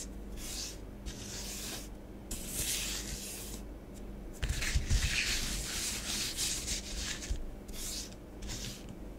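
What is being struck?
Bath bomb powder on a plastic tray.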